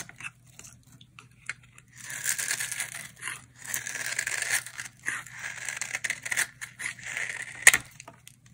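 A utility knife blade scrapes and cuts crumbly flakes from a solid, hand-sized dry orange bar soap held in the hand. Bright, crisp scraping and crackling come in bursts, building into longer dense passes from about 2 seconds on. A sharp snap stands out near 7.7 seconds, and a steady low hum sits underneath throughout.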